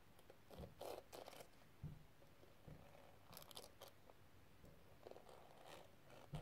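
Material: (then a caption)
Plastic gems. A small, flat, hollow metal case covered in pink square plastic gems with a crystal rim is held in a hand with long red nails and tapped and scratched with the tip of a pink metal tool. Quiet, crisp, crunchy taps with short bright clicks alternate with soft scratchy scraping, each tap dying away almost at once.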